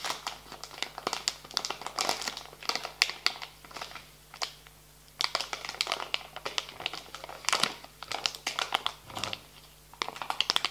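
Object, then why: Soft plastic wet wipes pouch. Fingertips and nails tap and scratch a soft plastic pouch of wet wipes while it is pressed and crinkled on a table. The result is a dense run of bright, dry crinkles and crisp little clicks that die away almost instantly. The bursts come in uneven clusters separated by brief quiet gaps.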